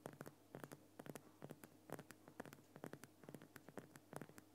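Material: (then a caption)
Rock salt. Fingertips and nails tap and scratch near the lower sides of a large, lit Himalayan rock salt lamp, a solid crystal block. The result is a quiet, irregular run of short, dry clicks and brief scratches that die away almost instantly, over a steady low hum.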